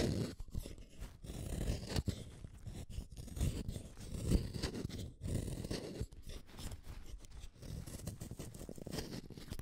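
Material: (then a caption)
Wood. A yellow wooden colored pencil, a small solid stick, is shaved by the metal blade of a yellow plastic hand sharpener, one pencil at a time. The clip is a continuous run of dry, gritty scraping cuts, mostly low-pitched and dull, with short bursts and brief pauses throughout.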